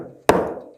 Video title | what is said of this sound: I Bought the NEXT CHEAPEST HEMI on Markeplace and it's Not That Bad. Still Broken Though... | when the tone changes you know you've broken the seal because now it sounds hollow rather than solid like it did before